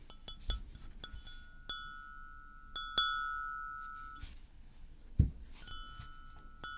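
A white floral porcelain mug, hollow and empty, is held and tilted while being tapped with fingernails. Irregular, light clinking taps give off bright glassy ringing tones, some lingering for over a second before fading, and a duller, louder knock lands near the end.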